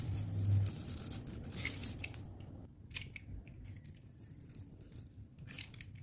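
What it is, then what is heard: Dry bar soap being cut. A metal utility knife blade scores a grid into a solid, dry, palm-sized pink oval bar of soap held in the hand, then shaves it off as small cubes. The result is a dense run of crisp scraping and crunching cuts, loudest and busiest over the first few seconds. It then thins into quieter, scattered bright crunches.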